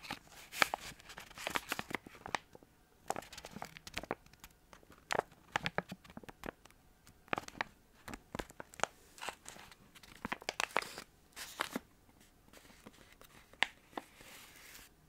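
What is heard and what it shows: Fingers and nails crinkle and scratch a small, filled, yellow and white crinkly plastic bag of protein balls. Quiet, sharp crackles and scratchy rustles come in uneven bursts, bright with almost no low end, and each crinkle stops almost instantly.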